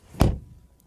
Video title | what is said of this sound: Mercedes GLE Coupé 53 AMG vs BMW X6 M50i vs Audi SQ8 vs Porsche Cayenne Turbo Coupé comparison SUV | that sounds solid really cool